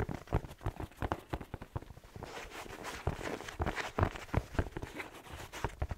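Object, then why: Slipper with fleece lining and rubber sole. Fingertips tap and scratch a black fleece-lined slipper with a rubber sole, held close to the microphone, working over both the sole and the fabric. A quick, uneven series of dull, low, dry taps is broken by a soft, scratchy rustle in the middle, and each tap stops at once with no ring.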